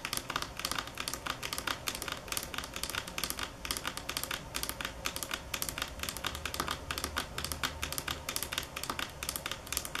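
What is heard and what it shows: Long acrylic nails tap rapidly across the edge of a large, solid, polished stone countertop of granite or marble. The taps are sharp, bright, clicky, and very short, forming a dense, steady patter with almost no ring.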